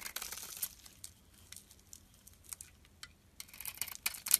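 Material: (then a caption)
Soap. A metal utility blade slices the shiny pink coating off a solid oval bar of soap held in the palm, revealing the cream soap underneath. Quiet, bright, crisp scraping and crackling bursts come at an irregular pace, growing denser and louder near the end.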